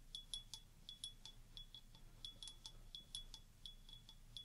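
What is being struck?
Stemmed wine glass with water.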